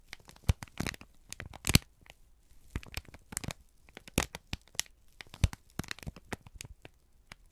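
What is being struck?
Kraft paper sheet.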